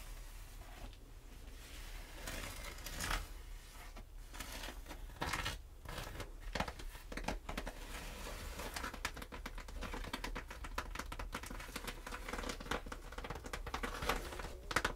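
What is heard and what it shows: Long red nails scratch along the diagonal scaled stripes of a patchwork snakeskin leather shoulder bag lying flat, and tap on them. The result is a steady run of dry, crinkly rasps mixed with quick, soft taps that die away almost at once, over a low, quiet background.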